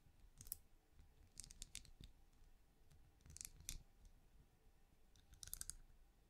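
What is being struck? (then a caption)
Small ridged plastic lamp. Long fingernails tap and click on the ridges of a small, hollow, translucent, plastic-like night lamp that glows, first held in a palm and then in the fingers. Quiet, bright, dry clicks come in short clustered bursts over a soft low rumble, each click dying away almost at once.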